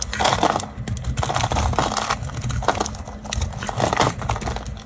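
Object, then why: Bar of soap carved with a small blade. A small blade scrapes and carves a solid, round orange bar of dry soap held in a hand over a tiled surface, flaking off shavings. The sound is a steady run of crisp, crumbly scraping and crackling, with denser bursts in the midrange over a low, muffled rumble.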